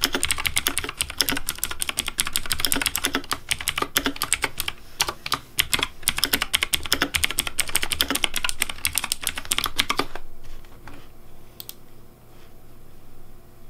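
Fingertips type rapidly on the keycaps of a pink plastic Razer Deathadder V3 Pink mechanical keyboard, producing dense, bright, clacky key clicks for about ten seconds. The typing then stops, leaving a faint steady low hum with one or two soft stray clicks.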